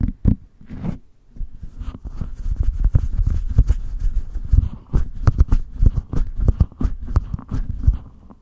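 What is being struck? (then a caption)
Metal mesh microphone grille. Long acrylic nails tap and scratch on top of the bare, hollow metal mesh grille of a white condenser microphone, with the hands staying on the mic throughout. The result is a dense run of quick, dull, bass-heavy thumps, rubbing and scratching sounds, with almost no high-frequency content.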